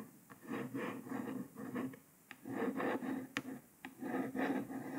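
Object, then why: Paper sticker on a laptop lid. A printed paper sticker on a grey laptop lid is traced by one long nail following the printed words, giving slow, soft scratching strokes. The dry rasps come in rounded swells, with a few sharp clicks between them.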